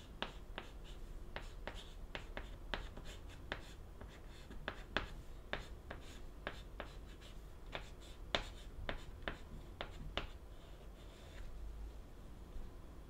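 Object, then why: White chalk on a wooden-framed chalkboard. White chalk held in the fingers writes characters on the upper right of a flat, solid, wooden-framed black chalkboard. Short, sharp taps and scratching strokes come in a quick, uneven series, each a brief bright click over a low, steady background hum.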